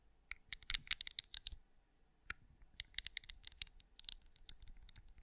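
Long acrylic nails tap and scratch across the raised scales of a hand-sized, cream, pinecone-shaped wax candle that appears solid, heard close-up. Quick, bright clicks come in dense clusters, with a pause of near-silence in the middle before the tapping resumes. Each click dies away almost instantly, with a faint low rumble underneath.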